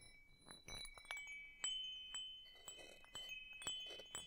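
A small hanging wind chime with hollow metal tubes and a wooden top bar, held by its string in front of the microphone, has its tubes struck with the wooden striker piece. Five distinct bright strikes stand out among softer clinks, each ringing out in sustained high tones around 3 kHz that fade over roughly three quarters of a second and overlap into a shimmering wash.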